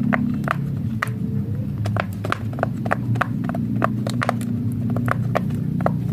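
Fingertips of both hands press and pop rows of hollow bubble domes on a large flat rainbow silicone pop-it fidget toy shaped like Hello Kitty's head, lying on a white surface. It makes a quick, irregular series of short, dull pops with a mid-range tone, each dying away almost instantly over a steady low hum.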